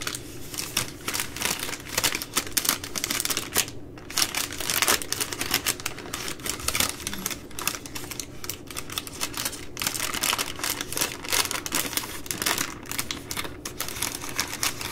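Fingers and nails tap the side of a full three-pack of baby wipes in plastic overwrap, giving a rapid, continuous run of sharp, bright clicks and crinkly plastic rustles. The taps come fast and dense throughout with little low end.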